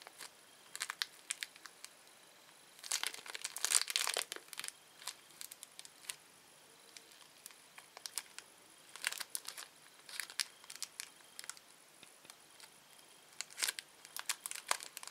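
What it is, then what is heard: Plastic candy wrapper being crinkled. A small, thin, empty red-orange printed plastic candy wrapper is held between the fingertips of both hands and stretched and crinkled with the fingertips and short manicured nails. Bright, high crinkles come in quick irregular bursts, with a denser flurry early on and quiet pauses between clusters. Nothing low or booming is heard, only the crisp rustle of the thin plastic.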